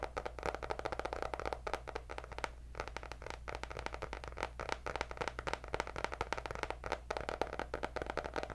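Long nails tap rapidly and continuously on the cardboard cover of a white hardcover paper notebook with gold dots. The taps are short, dry clicks, with a steady low hum underneath.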